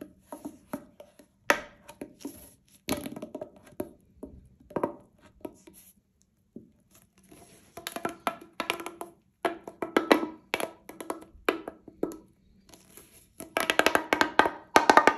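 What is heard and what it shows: A single light-blue hollow corrugated plastic pop tube is compressed and pulled by both hands, with fingertips and long nails, making its segments click and pop. Short, dry, bright clicks and pops come in irregular bursts with brief pauses, growing denser and louder toward the end.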